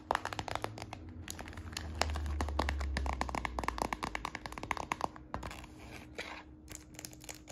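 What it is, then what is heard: Plastic purse. A hollow, apparently empty, medium tortoiseshell-brown transparent PVC purse is held in the hand and tapped and scratched with fingertips and short nails. Quick, irregular plasticky taps and crinkly scratches play over a steady low hum.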